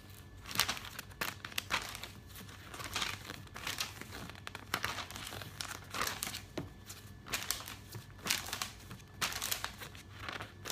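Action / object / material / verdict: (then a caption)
scrape / glossy paper catalog pages / paper / none. Fingers with nails pinch, rub and turn the thin pages of an open glossy paper catalog, making bright, papery crinkling. Quick rustles and crisp page flips come in bursts, with short pauses of soft rubbing between them over a faint steady low hum.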